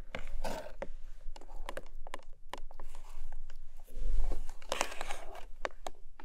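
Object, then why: Small paperboard box. Long nails tap and scratch along the side edges of a long, narrow pink paperboard product box. Sharp, dry taps cut through soft, papery scratching and faint crinkling, with a low rumble running steadily underneath.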